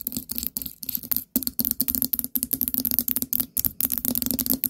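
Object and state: Ceramic pumpkin jar with lid.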